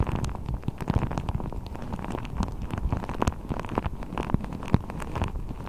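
A blue deflated rubber ball with a thin hollow skin is wrapped over a microphone and squeezed and crinkled with fingertips. The result is a steady, muffled, low rumbling rustle, dotted with many quick soft pops and crackles that die away instantly, with almost no bright edge.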